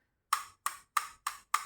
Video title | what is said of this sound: MAMEN WMIC Mate 2 - Versi 2 Tapi... | ada mouse nih yang kopong seperti ini saya getok Ya tuh kan bunyinya beda